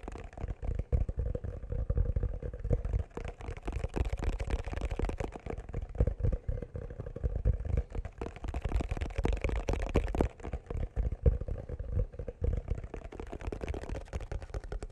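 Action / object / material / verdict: tap / leather-covered wooden chest box / wood, leather / none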